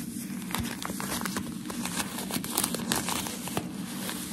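A thin, crinkled sheet of white shoe packaging paper is held in the hands and rubbed and scratched with fingertips and nails. It gives a continuous dry crinkling and crackling with sharper scratchy spikes and bright high edges over a steady low hum.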